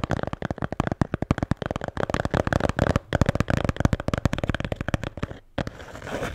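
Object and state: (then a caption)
Beer can holder. A blue Bintang beer can holder is tapped and scratched in a rapid, dense flurry of short, dry, low-heavy taps with little ring. After a brief pause near the end, it gives way to a softer, continuous scratching.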